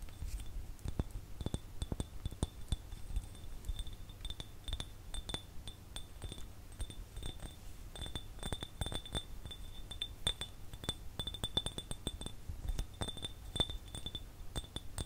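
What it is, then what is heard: Empty glass jar. A small, empty, clear glass jar, hollow and without a lid, is held in one hand and tapped quickly and irregularly with the fingertips and fingernails of the other hand. The result is a steady stream of short, bright glassy clinks that ring around 3.5 kHz with a higher shimmer and die away almost instantly, over a constant low rumble.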